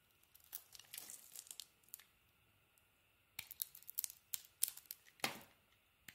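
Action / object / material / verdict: scrape / solid soap bar scraped with a small metal blade / soap / none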